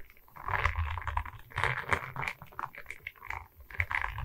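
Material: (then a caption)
Resin, wood. A diamond painting on a wooden canvas, a flat rectangular board covered in small resin rhinestone beads on a wooden frame, is held in both hands while long red nails tap and scratch across the bead surface. Bursts of dense, crackly tapping and scratching rise and fade in waves, with a low rumbling undertone beneath the brighter clicks.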